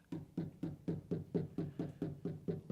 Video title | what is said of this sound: Welcome to My Nightmare, I Think You’re Gonna Like it. (Trans Am LT Swap Ep.6) | Hear how it's hollow and just kind of has like a resonance to it?